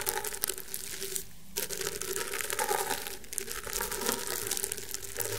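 Fingertips and short nails scratch and rub the fibres of a flat, round woven rattan table mat. The result is a steady, dense, bright crackling and scratching texture, with a brief quieter gap just before the rubbing resumes.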